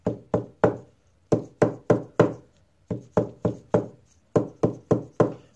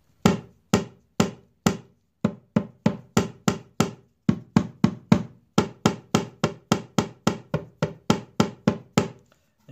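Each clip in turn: First: Fifteen clean knuckle taps on a guitar top, warm and woody, each dying fast with no buzz: brace solid. Second: Steady dull knocks on a guitar top, each with a faint buzzy rattle from a loose brace.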